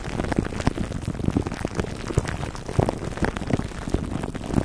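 Fingertips and short nails of both hands scratch clear plastic cling wrap stretched over the dome of a black foam microphone windscreen. The result is a dense, continuous crackling and crinkling, heavy in the low end with little brightness, scattered with short sharp pops that come and go without a steady rhythm.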